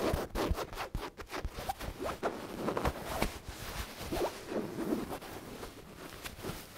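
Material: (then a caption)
Cotton fabric. A medium, soft white cotton pillow with cat prints is scratched and rubbed with long dark-painted nails and fingertips, then held up and squeezed. Quick, irregular fabric scratches and zipper-like rasps come in bursts, with soft rustling and dull rubbing between them.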